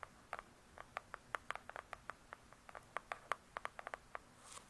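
Long pointed nails of both hands quickly tap and scratch a large, closed hardcover book with a glossy cardboard cover. About 24 quick, dry clicks centered near 1.2 kHz, each dying away almost instantly, land in an uneven, pattering rhythm. The clip ends with a brief, bright scratch.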